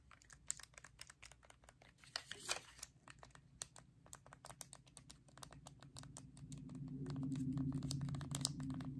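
A white-and-black plastic Nintendo Switch controller, its Joy-Cons held in a grip, is tapped with fingertips across its hollow plastic surface while its buttons and thumbsticks are pressed. The result is a steady run of sharp, clicky, typing-like taps. A low hum rises beneath them toward the end.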